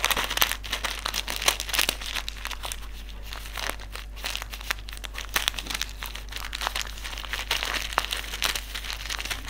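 A small white silica gel desiccant sachet filled with beads is folded, crinkled and rubbed between fingertips. The result is continuous bright crinkling and crunching with many sharp, quick clicks over a steady low hum.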